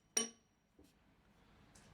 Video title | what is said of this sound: Meet Belgium's last shale 'miner' who works in solitude - AFP | Ça sonne plein, quoi. Tu comprends? Il n'y a pas un creux dedans. Il n'y a pas une fissure. Il n'y a pas un écartement entre les strates.